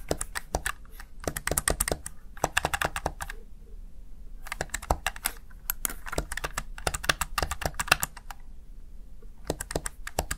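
Fingertips repeatedly tap and press the backlit keys of a plastic Razer Tartarus Chroma gaming keypad. Bursts of quick, sharp, bright plastic clicks come in fast runs with brief pauses between them, each click dying away almost instantly.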